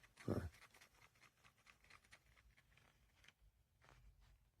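A pair of JLab Rewind 2 Retro Bluetooth headphones is shaken while the right plastic earpiece is held still, letting an entirely loose internal piece rattle inside it. One louder knock is followed by a run of faint, light clicking rattles. The loose part is a fault.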